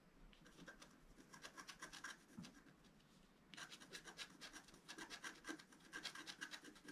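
A wooden stylus scratches fine strokes through the black coating of a flat scratch-art card, a sheet with a colored foil layer beneath, held flat on a table. Dry, bright rasping strokes come in quick, uneven succession. They are softer for the first half and then grow louder and denser.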